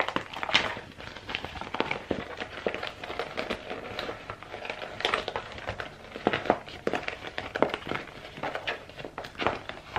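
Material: PVC plastic.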